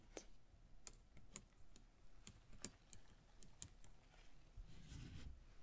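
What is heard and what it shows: Long fingernails tap and scratch a small, hollow, empty, ribbed red paper lantern with gold print, held up in one hand. About ten quiet, sharp, crisp clicks with bright tops land at an uneven pace. They finish in a softer, papery scratching rustle toward the end.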